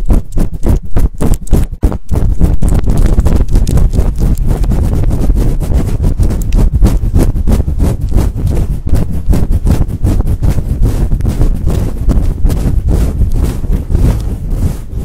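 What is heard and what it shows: Long painted nails scratch fast across a large, fluffy synthetic-fur microphone windscreen while both hands cup it. The result is a loud, dense, continuous rumble of scratching, almost entirely low and muffled, with a brief drop to near silence just before the two-second mark.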